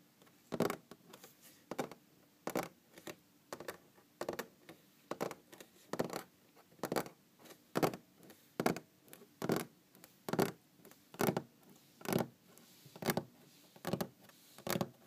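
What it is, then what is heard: Wooden tabletop. Long green-painted fingernails on both hands scratch and tap across the surface of a large, solid brown wooden table. Dry, brisk broadband taps and scrapes repeat roughly once a second in a loose, uneven rhythm, with softer scratches between them. Each sound stops almost instantly, with no ring.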